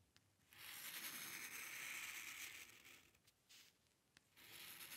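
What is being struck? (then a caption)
Drawing paper sheet under a metal pen nib. The metal nib of a dip pen scratches across a flat sheet of white drawing paper, drawing curved strokes. A long, bright, hissing scrape is followed by shorter strokes separated by brief quiet pauses, with faint ticks where the nib touches down.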